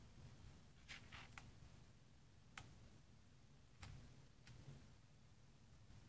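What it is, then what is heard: Glossy paper magazine pages. Fingertips with painted nails rub and smooth the thick glossy pages of a large open magazine resting on dark fabric, then turn a page. Brief, bright papery swishes and crinkles stand out over a very quiet, low rumbling background, with nothing lingering after each touch.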